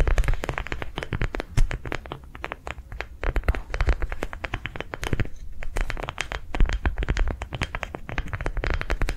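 Long nails rapidly tap and scratch along the ridges of a hand-sized, yellow-green ridged soft rubber sensory ball, likely hollow, held in both hands. A dense stream of quick, sharp clicks and scratchy crackles rides over a soft, low rubbery thump. The pace stays steady and gentle throughout.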